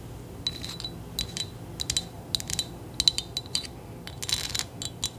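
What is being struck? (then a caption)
Small metal figurine covered in beads or rhinestones. A small, solid metal trinket figurine covered in beads or rhinestones is tapped and scratched with long nails. The result is a rapid, irregular series of bright, sharp clicks and brief scratchy rasps, with a faint high metallic ping that dies away almost instantly.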